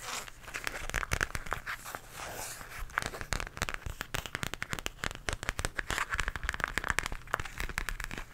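Long nails scratch and tap the surface of an empty, small pink floral zippered makeup pouch made of coated fabric or vinyl, held upright close to the microphone. The result is a dense stream of sharp, dry clicks and crinkly scratches with bright edges and very little ring, over a soft low rumble.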